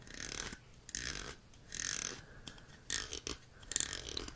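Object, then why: Plastic jellyfish toy with corrugated pop tubes. A green plastic jellyfish toy with several hollow corrugated pop tubes is handled and scratched with fingertips and nails. The result is bursts of bright, hissy scratching and crinkling, with short sharp clicks and pauses between them.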